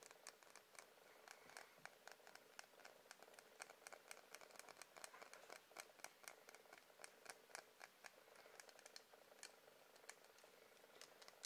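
Fingers tap on a wax candle in a quick, continuous stream of light, dry clicks. Each tap is short and bright, with almost no low end and a main tone near 1.6 kHz. The taps stay quiet and close, fading almost instantly.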